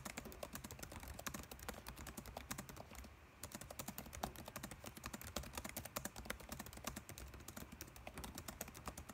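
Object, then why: Plastic laptop keyboard. Fingertips type fast on a dark laptop keyboard with plastic keys, producing a dense stream of quick, sharp, bright clicks. The clicks pause briefly around the three-second mark and then resume at the same rapid pace over a low, steady background hum.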